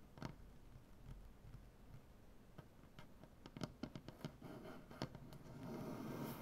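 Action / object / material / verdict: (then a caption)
tap / wooden butcher block tabletop / wood / none. Long, dark-painted nails on both hands tap quickly and irregularly on a solid light wood butcher block tabletop, making quiet, dull clicks with no ring. Toward the end, the tapping gives way to a steady, brighter scratching on the wood.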